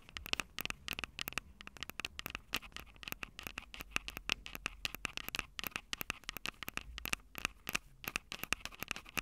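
Long purple nails tap rapidly on the silver metal mic capsules of a Tascam DR-05 handheld audio recorder. The result is a dense stream of sharp, dry clicks with almost no ring, bright and crackly with a steady tone near 2.6 kHz over a faint low rumble.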